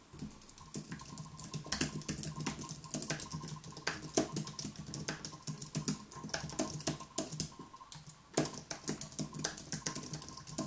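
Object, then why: Aluminium and plastic keyboard. Both hands type continuously with their fingertips on an aluminium and plastic wireless keyboard with white plastic keys on an aluminium base. The result is a steady stream of quick, crisp, bright keystroke clicks with occasional louder taps, over a faint steady hum.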